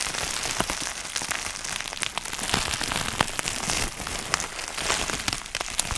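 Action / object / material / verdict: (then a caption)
tap / plastic bubble wrap sheet / plastic / none. Fingertips tap, press and crinkle a clear plastic sheet of air-filled bubble wrap held up in the air. The result is a steady, bright crackling hiss that sounds much like rain on a surface. Sharp little clicks and snaps poke out of it throughout.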